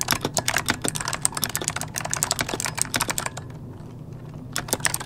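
Both hands type rapidly with the fingertips on an RGB-lit plastic mechanical computer keyboard with hollow key switches, resting on a desk. Quick, bright, clacky key presses come in a steady stream over a faint low hum. The typing pauses briefly near the four-second mark, then a few more keystrokes follow.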